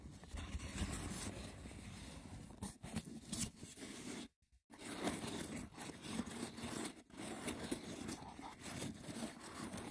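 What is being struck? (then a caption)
Woven wicker box with lid. Fingers scratch the top of a small, hollow, rectangular woven wicker box with a lid, then the hands grip its sides and scratch them with short nails. The result is a dense, rough, crackly scraping with a hollow low body, broken by a brief silence just past the midpoint before the scratching resumes.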